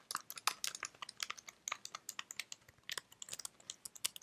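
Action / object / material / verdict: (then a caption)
tap / plastic computer keyboard keys / plastic / none. Long red fingernails type on a white slim plastic computer keyboard held in one hand. About 27 quick, crisp clicks and taps come in an uneven run. The sound is quiet and bright, with no low end, and each click dies away almost instantly.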